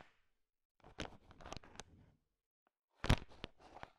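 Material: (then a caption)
Sugar-coated chocolate. A thin wooden stick stirs a large pile of small, solid, sugar-shell-coated chocolate M&Ms, and the candies click against each other. Two bursts of dense, crunchy clicking and rattling are heard, separated by a short silence, with the second burst starting with a sharper, louder clatter.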